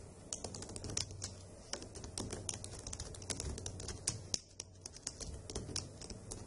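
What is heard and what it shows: Long acrylic nails and fingertips type on the hollow key caps of a dark grey plastic laptop keyboard. Quick, sharp clicks and bright tapping come in an uneven rhythm, and each one dies away almost instantly. A faint low background noise runs underneath.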